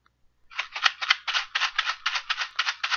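A box containing wild rice is shaken as a test of a hypothesis, for comparison with a mystery gift box. After a brief quiet start, eleven quick, dry rattling bursts follow at about four per second, bright and hissy with no low rumble.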